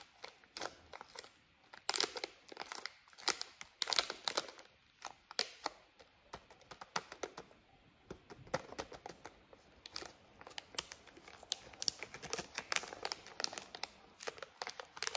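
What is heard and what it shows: A small Skittles candy pouch of printed plastic/foil film, apparently full of candies, is held in both hands and tapped and crinkled with long fingernails. Dense, bright crackles and sharp clicking taps come in quick irregular bursts with almost no low end. Each sound cuts off instantly, with only short quiet gaps between the clusters.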